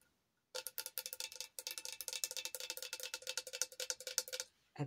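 A tall glass Hello Kitty tumbler, glitter-decorated with a drip design and a personalized name, is held in one hand and tapped repeatedly with long acrylic nails; it appears hollow. The rapid taps give bright, clicky ticks over a faint glassy ring near 500 Hz, each dying away almost instantly, with a brief pause partway through. The tapping stops just before the end, followed by a short, softer rustle.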